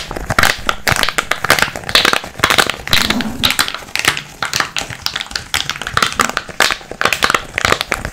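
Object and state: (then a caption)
Small cardboard box. A small, hollow brown kraft cardboard box is held close to the microphone and tapped and scratched with fingertips and nails. The result is a steady stream of quick, dry taps and crinkly scratching with a bright, papery edge and very little low end.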